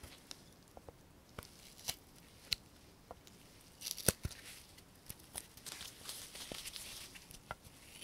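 A small solid basswood lure blank is shaped with a steel knife that cuts curled shavings from it. The result is a quiet series of short, bright slicing clicks and scrapes at an irregular pace, with a denser run of rough scraping near the end.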